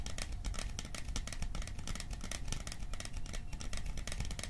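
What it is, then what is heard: Metal popcorn tin. A small, hollow, cylindrical metal popcorn tin with a printed "Silent Night" scene is held close and tapped rapidly with fingertips and nails. The result is a steady stream of dense, overlapping taps: dull, low hollow thumps mixed with bright, crisp metallic clicks.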